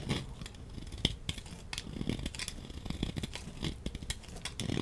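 A utility knife blade scrapes shavings and chunks off a solid orange embossed laundry soap bar held in the hand. Dry, crisp scraping and crunching strokes repeat in quick, uneven bursts, with a low thud under each cut and bright, brief rasps that die away almost at once.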